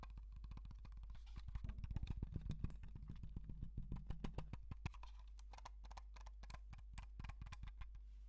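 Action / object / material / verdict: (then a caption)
tap / plastic computer mouse / plastic / none. Fingertips and nails tap and click quickly on the underside and sides of a black wired computer mouse with a hollow plastic shell, held in the hands. The taps land as fast, irregular, short, dull knocks with faint bright clicks, over a steady low hum. The tapping grows busier and louder in the middle, then thins out toward the end.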